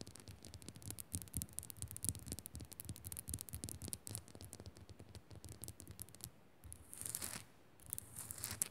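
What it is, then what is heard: Rock-salt lamp. Long nails rapidly scratch and tap the rough sides of a solid pink Himalayan rock-salt lamp held in both hands. The sound is a dense run of crisp, bright scraping clicks over soft low thumps, with short pauses and a few louder hissy scratch bursts near the end.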